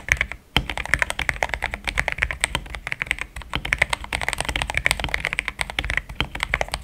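Fingertips type steadily on a compact mechanical keyboard with thick plastic keycaps and a pink plastic case. A fast, continuous run of short, crisp keystroke clacks with a bright, clicky top around 2.3 kHz and a light low thud under each press, with almost no ring between keys.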